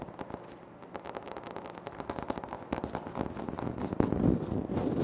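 Fingertips and nails tap and scratch on a large, flat, solid, speckled granite-like floor tile, with the hands close to the recorder. Quick, dry, crisp taps blend with scratchy rubbing in a loose, uneven rhythm. The sound grows denser and louder toward the end, with a stronger burst near the four-second mark.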